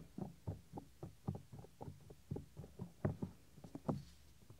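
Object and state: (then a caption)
Silicone microphone ear being tapped and rubbed. Fingers press, fold and rub the small, solid white soft-silicone ear of a 3Dio binaural microphone, producing about a dozen dull, low, muffled thumps at an uneven pace. Each soft, knock-like bump dies away almost at once, with faint rubbing in between and almost no bright content.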